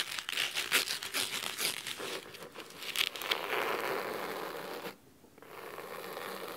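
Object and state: Cloth-covered hardcover book.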